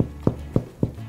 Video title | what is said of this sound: How to Bake Sourdough - Make Bread | that's a great sound um so this bread is done